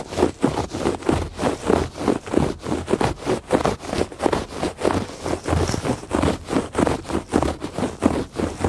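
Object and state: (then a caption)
Woven textile rug. Fingertips and nails scratch back and forth across the ribbed surface of a woven fabric rug. The result is a steady run of dry, rasping strokes, each swelling and fading quickly, with a soft papery texture centred in the mids.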